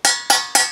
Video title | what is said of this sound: Servicing IBC Boiler | you can sound the difference it's not hollow and there it sounds hollow